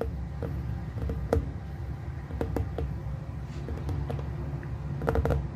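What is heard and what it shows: Fingertips tap the surface of a hollow glass plasma ball, lit from within, held in two hands. Short, sharp taps with a brief bright ring sit over a steady low hum. The taps come in irregular bursts throughout.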